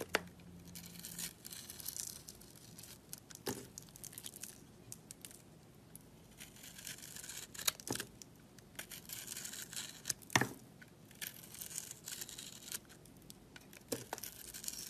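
A metal knife blade scrapes the yellow glitter coating off a solid rectangular soap bar with a pink inside, held in the fingers. The sound is a dry, bright, crackly scratching, broken by a few sharper, louder scrapes as the glitter layer is stripped away.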